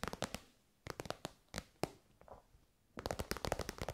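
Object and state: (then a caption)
Faux-leather pouch, soft. An elongated, shiny pink metallic faux-leather pouch, soft and hollow, is tapped on its end and side with long white nails. The taps come as quick, dry, crackly clicks in small clusters separated by quiet pauses, then turn into a dense flurry at the end. Each tap stops at once with no ring.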